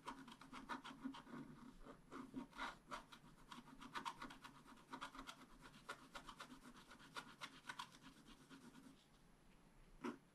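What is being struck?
Black-coated scratch-art paper card scraped with a wooden stylus.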